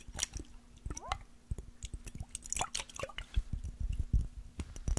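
A small glass mason jar with a metal screw lid, partly filled with water, is tapped with fingernails and tilted. Quick, irregular clicking taps mix with soft sloshing and wet, squishy liquid sounds, and a few brief gliding tones ring out as the water shifts.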